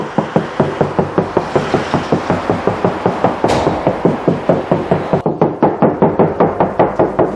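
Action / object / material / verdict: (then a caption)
knock / steel car door panel / steel / resonant. A steel car door panel is knocked on repeatedly during a sound-deadening job, giving a steady run of about 31 quick knocks with a ringing, resonant tone. The sheet metal sounds echoey and resonant, showing the panel still needs more deadening material.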